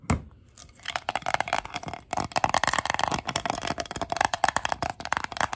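Long gold acrylic nails tap and scratch a red glass three-wick candle jar lying on its side, filled with white wax. After one sharp tap and a brief pause, a rapid, dense run of clicky taps and scrapes follows, with a bright glassy tone around 770 Hz. The jar barely rings after each tap.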